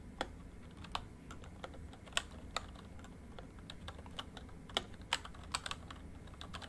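Fingertips type on a full-size plastic MSI backlit membrane keyboard. Brief, bright key taps land at an irregular pace over a steady low background rumble, with a few harder strokes standing out.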